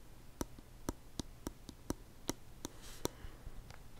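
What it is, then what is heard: Plastic lotion bottle. A white plastic lotion bottle with a blue cap is held by its body while a fingertip and nail tap slowly on its cap and sides. Ten short, dry taps sound at a slow, uneven pace, each a crisp click with a hollow body and bright high edges. They decay almost instantly over a low, quiet background.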